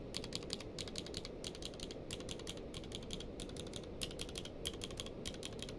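Fingertips type and press single keys on a grey-blue tenkeyless mechanical keyboard with plastic keycaps. An uneven, steady run of short, bright clicks plays over a constant low background hiss. Each keystroke dies away quickly.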